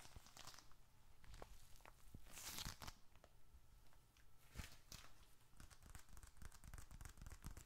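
A small, closed, dark red leather bifold wallet, hollow with bills and receipts inside, is squeezed and scratched with fingertips and fingernails. It makes a crinkly, sticky leather sound of tearing-like rustles and quick bright clicks over a low rumble. A louder, brighter burst of crinkling comes around the middle.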